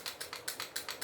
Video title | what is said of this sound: Mabilisan Vlog Ep.15 - GIock18 by AWC | kumakalog kasi hindi nga naka-fix outer barrel